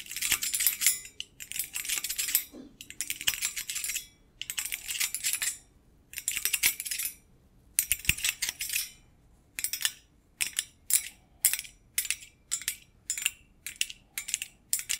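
A medium-sized, empty stainless steel wire basket made of steel rods is held in front of the microphone while metal thimbles tap and scratch across its rods. Long bursts of rapid, bright metallic clicking and scraping come first, then give way to shorter, evenly spaced clusters of taps. The sound is thin and high with almost no low end, and each click dies away quickly.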